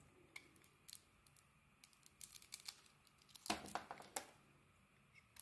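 A metal blade shaves curls from a solid, embossed brown-pink bar of soap held in the hand. Soft, dry crackling scrapes come in irregular, short bursts with a bright, crisp edge, and the loudest cluster falls a little past the middle. Each cut ends quickly against a quiet background.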